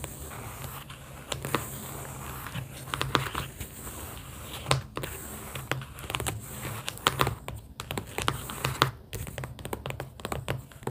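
Long pink acrylic nails tap on the inner cardboard panels of an opened cardboard sticky-note booklet holding round paper sticky notes. Quick, dry clicks and taps come in irregular bursts, with a faint papery crinkle over a steady low hum.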